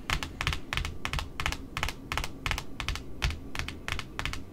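Long metallic nails tap the white face of a large, flat, solid white cardboard spool wound with pink satin ribbon, lying on a wooden table beneath smaller spools. It makes quick, uneven bursts of sharp, bright clicks over a soft low thud. Each tap stops dead with no ring.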